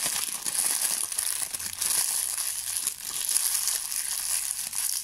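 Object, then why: Thin plastic bag. A thin, clear plastic bag is balled up and crushed in the fingers, producing a steady, dense crinkling that stays high and bright with almost nothing in the low end. The crackle keeps going for the whole clip, dipping briefly now and then before picking up again.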